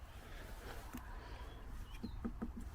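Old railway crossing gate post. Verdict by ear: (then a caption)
Hollow. Knocks on an original 1840s gate post at an old farmer's railway crossing, rotten through to the inside with metalwork showing, give short, dull low thuds against outdoor background noise. The post sounds hollow.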